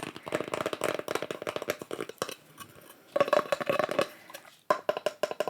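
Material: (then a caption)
Wood. Fingers or nails tap across a craft-wood board from an art store, wood-burned with pyrography and painted with watercolour mushrooms. Bursts of quick, dry, bright taps with a hollow knock near 1 kHz die away almost at once, with brief quieter gaps between flurries.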